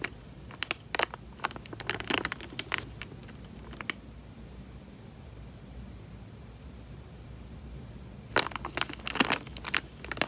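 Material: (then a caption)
Plastic. Thumbs squeeze and crinkle a small, clear, thin plastic bag full of water, with the water shifting inside. Sharp, bright crinkling snaps come in a dense burst for the first four seconds, then a long near-silent pause, then another cluster of crackles near the end.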